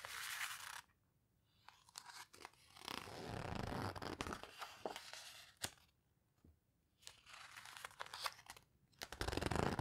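Close up, the pages of an open paper photo book are flipped and squeezed between fingertips, giving dry, crinkly rustles and sharp papery snaps. Soft rustling bursts alternate with short near-silent pauses, and a bright, full swish closes the clip.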